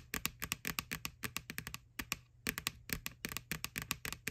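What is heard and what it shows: Long nails tap and scratch the side of a small, hollow, white plastic Halloween candy bucket, near its printed McBoo label and ribbed rim. About 28 quick, dry, bright clicks come in a rapid run, with a short pause midway, over a faint low hum. Each tap dies away almost at once.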